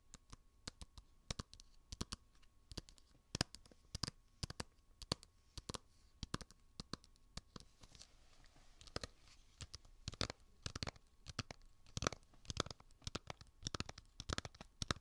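A small hollow plastic Nintendo 3DS game case (Zelda), held in the hand near a binaural microphone, is tapped and scratched with fingertips and nails. Quick, dry clicks and taps with no ring come in an irregular run, with soft scratching between them. The sound is quiet overall, with bright, crisp highs over a light low thump.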